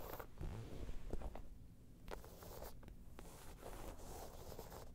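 Long nails scratch the sides of a round, hollow, tan crocodile-embossed faux leather bag. The result is a low, rumbling scrape with short, crisp ticks scattered through it. The scratching comes in uneven strokes and stays quiet throughout.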